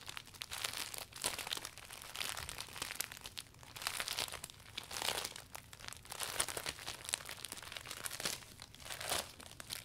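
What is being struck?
Clear vinyl umbrella canopy.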